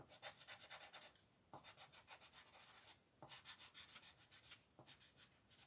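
A blue wooden colored pencil rubs in dense back-and-forth strokes across a thin paper coloring book page lying flat on a table, filling in shapes. It makes a quiet, bright, scratchy rasp in quick rhythmic bursts, broken by a few brief pauses and soft low taps as the pencil lifts and resets.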